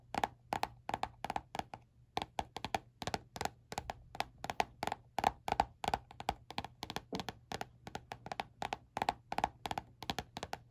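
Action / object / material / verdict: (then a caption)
tap / spiral notebook with laminated cardboard cover / laminated cardboard / none. Fingernails tap and scratch the glossy laminated cardboard cover of a small spiral-bound notebook with a peach-print cover, held in one hand. The result is a quick, irregular series of short, dry clicks with almost no ring, centred around 800 Hz with brief bright edges, over a faint low hum.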